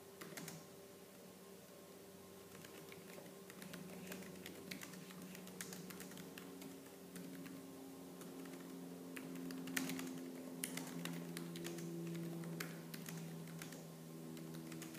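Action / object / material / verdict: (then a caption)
tap / plastic laptop keyboard / plastic / none. Fast, aggressive typing with fingertips and purple-painted nails on the black plastic keys of a laptop keyboard. A steady stream of quick, bright plastic key clicks sounds over a faint low hum, with a few sharper taps standing out.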